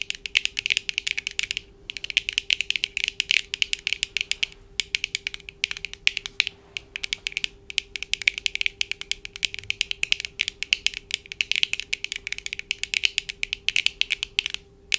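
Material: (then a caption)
Plastic. Long acrylic nails on both hands tap rapidly on the lenses of black plastic-framed eyeglasses worn on the face. The result is a dense stream of very short, bright clicks with brief pauses, over a faint steady hum.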